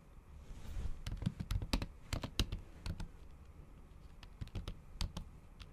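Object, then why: Laptop keyboard with plastic cover. The tips of long acrylic nails tap fast and repeatedly on a MacBook keyboard covered by a thin pink patterned plastic or silicone cover over solid keys. The result is a quick run of short, sharp clicks with a soft low thud and a bright tick on top, each dying away almost at once over a faint steady hiss.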